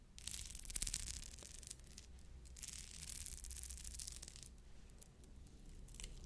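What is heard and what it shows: Fingernails scratch and roll over the beads of a pearl bead necklace, whose pearls later fell apart. A quiet, steady stream of bright, crackly scratching and rattling rises and falls in waves over a low, constant hum.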